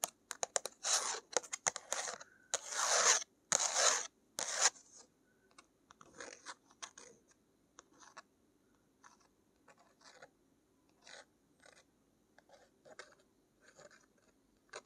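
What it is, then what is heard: Thick watercolor paper page, scratched and tapped. Long acrylic nails scratch and tap on an open sketchbook page of thick watercolor paper bearing a painted Slytherin crest. Bright, crisp scratching bursts dominate the first five seconds, then give way to sparser, quieter taps and short scrapes spaced irregularly across the rest of the clip.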